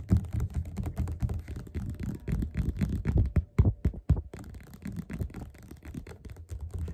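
Fingerpads of both hands tap fast on the cover of a closed, solid yellow glossy paperback of Othello lying flat on a table. The result is a dense, irregular flurry of soft, dull thumps that are deep and muffled, with almost no brightness and no ring after each tap.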